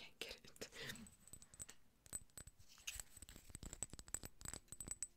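A small, hollow amber-yellow glass dropper bottle with a dropper cap, partly filled with liquid, is held in the hands, tapped with long nails and shaken. Quick, sharp clicking taps come in an irregular stream, each with a brief high glassy ping over soft rustling and liquid movement. The sound is quiet and close.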